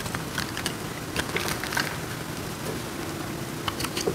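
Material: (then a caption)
Soap. A metal knife cuts into a hand-sized solid block of dry marbled soap, and the cut-off pieces crumble. Crisp, bright crunching clicks and crackles pop over a steady, low, rustling scrape.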